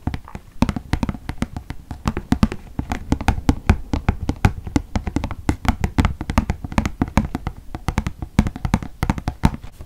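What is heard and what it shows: Fingertips and nails tap rapidly on the flat printed side of a medium white glossy paper gift bag with rope handles and green tissue paper sticking out of the top, held in one hand. The taps are a steady, dense stream of short, dull thumps with crisp clicking edges that stop almost instantly, continuing for about ten seconds.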